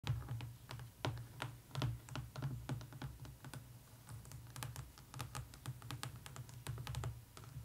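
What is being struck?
Hardcover book with laminated board cover.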